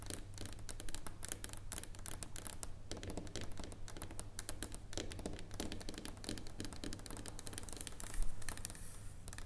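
Long nails tap and scratch a solid dark chocolate bar lying on a wooden table. Dense, quick, bright clicks and scraping strokes run throughout over a steady low hum, with a slightly louder burst near the end.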